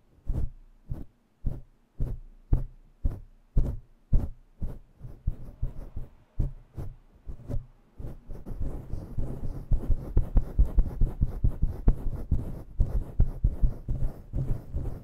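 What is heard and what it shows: Long nails rake a faux-fur microphone windscreen with both hands, first as separate deep, muffled thumping strokes at a steady pace. After about eight seconds the raking speeds up into a dense, continuous rumbling scratch with brushy fibre texture up high.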